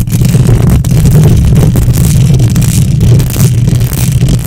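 Long nails on both hands scratch the hollow metal mesh grille of a silver condenser microphone. The result is a loud, continuous scraping rumble concentrated in the deep low end around 156 Hz, with a steady level and only faint brightness above it.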